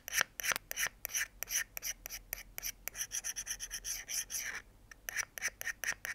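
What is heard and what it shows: A thin metal pick held in the fingers scratches repeatedly along the edge of a small folding pocket knife's solid steel blade over a wooden board. It makes a rapid series of short, bright, raspy scraping strokes with a brief pause near the end before the strokes resume.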